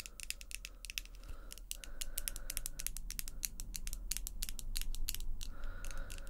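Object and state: Acrylic false nails clicking together.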